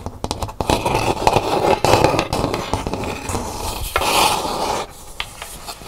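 Long nails scratch and tap the textured outer shell of a hollow, empty painted calabash gourd bowl as it is held and then turned upside down. Quick, uneven scraping and tapping fill the clip with a dry, rasping texture and a hollow tone around 870 Hz. The scratching swells and brightens before thinning into a few sparse, sharp taps at the end.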